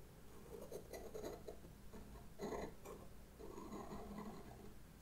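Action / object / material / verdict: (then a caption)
scrape / pastel pencil on paper sketchbook page / paper / none. A pastel pencil tip rubs and scratches repeated short strokes across a black paper sketchbook page, filling in a lantern and drawing faces. The quiet, dry scratching comes in uneven bursts with a soft low hum underneath.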